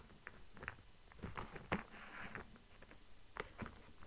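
Fingers tap and scratch the surface of a cardboard box for LED lights held to the side. Soft, dry taps and papery scratching are heard, with one sharper tap near the middle. The sound is quiet and close, with short, crisp clicks that die away quickly.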